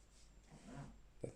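A single knock test on the encapsulated disc bottom of a Silit stainless steel pot, whose quality is expected to be similar to a Fissler disc bottom. Quiet low rustling and handling noise lead into one short, dull, low-pitched knock near the end that dies away almost immediately with no ring.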